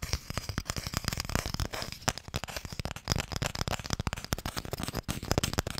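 Fingernails tap quickly on the lid of a small, hollow wooden Mikado box, held first horizontally and then upright. The result is a dense, uneven run of short, dry taps that die away almost instantly. Each tap has a low hollow knock under a bright clicky edge.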